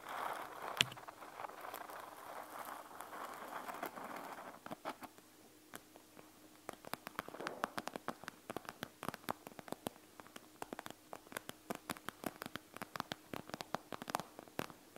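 A panda gel bead eye mask with a clear plastic front full of gel beads lies flat on a table while fingertips and long nails tap quickly all over the beaded surface. The first few seconds are a soft, steady rustling wash with a sharp click near the start. After a brief quiet stretch, a fast run of crisp, bright plastic taps follows with almost no ring.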